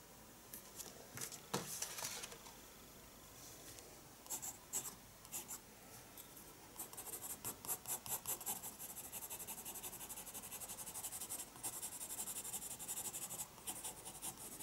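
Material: Paper.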